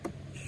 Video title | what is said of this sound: Meanwhile, Back In The Garden...Biggest Kahuna! 🍉 | it has a hollow sound to it when you thump it